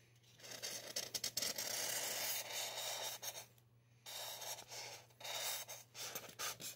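A gloved hand draws lines with a black felt-tip marker on the side of a life-size, solid white expanded polystyrene mannequin head, so the tip scratches over the bumpy foam surface. The result is a run of dry, bright, hissy scraping strokes with short pauses between them, over a faint steady low hum.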